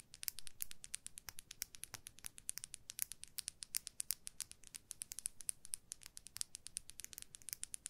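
A hand-length makeup brush with a white, apparently plastic handle, a shiny dark metal ferrule and dense bristles is held across both hands and scratched and tapped along its handle and ferrule with long manicured nails. The result is a quiet, rapid stream of crisp, bright clicks and scratchy ticks that die away instantly, over a faint low background hiss.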